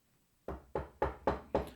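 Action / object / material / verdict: knock / wooden surface / wood / none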